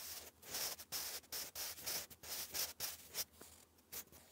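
A sharpened wooden graphite pencil is drawn across a thick grey lined cardstock sheet lying flat, writing English cursive. It makes a quick run of short, dry, bright scratching strokes separated by brief pauses, with almost no low end.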